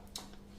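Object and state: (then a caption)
Dried sugar paste flower, dry. A sugar paste flower piece on a wire, made earlier and left to dry for 24 hours, is tapped once, giving a short, bright, hard click. The crisp sound shows the paste has dried hard, over a steady low hum.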